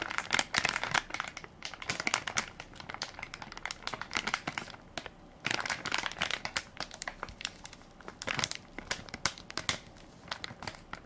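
Fingertips and nails crinkle and scratch the soft plastic-film top of a full baby wipes pack with a plastic lid, held in one hand. Dense, bright crackling comes in quick bursts with very little low end, easing briefly around the five-second mark before picking up again.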